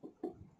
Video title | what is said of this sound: how to pick a sweet watermelon --इन 6 बातों का ध्यान रखेंगे तो 100% तरबूज मीठे और लाल निकलेंगे -- | जिस तरबूज से ज़्यादा आवाज़ आती है तो इसका मतलब वो पका हुआ तरबूज है